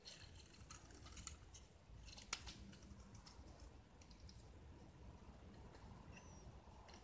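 A small, solid, purple-painted gypsum block held in the hand is shaved with a metal utility knife blade, exposing the white plaster underneath. Quiet, dry scraping and crunchy shaving strokes continue throughout over a low rumbling background, with a sharp click partway through and a faint, brief high whistle near the end.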